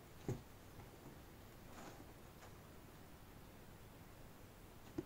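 Yellow rubber-gloved fingertips tap and rub the front face of a medium-sized, hollow, glossy printed cardboard retail box for the Sound Devices MixPre-3, which holds the product and sits inside a larger shipping box. Two soft, dull, low taps, one at the start and one at the end, frame faint, quiet rubbing in between. Each tap dies away almost at once.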